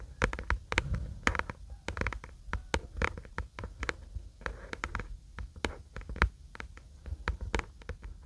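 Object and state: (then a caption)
Paperback book cover. Long acrylic nails tap and scratch the white paper/card cover of a paperback book held in both hands. The result is a rapid, irregular run of short, dry clicks and scrapes with a soft low thump beneath and a few bright edges.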